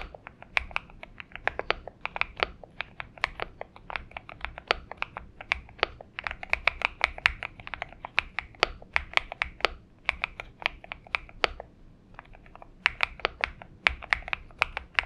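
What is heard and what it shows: Fingertips of both hands type steadily on a purple Xinmeng M71 mechanical keyboard with PBT keycaps. The result is a fast, uneven stream of short, crisp, bright clacks with almost no low end and a brief lull around the twelfth second.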